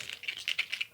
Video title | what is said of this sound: How to design within the vase | These ones are quite well very fresh. You can hear how crispy and squeaky they are.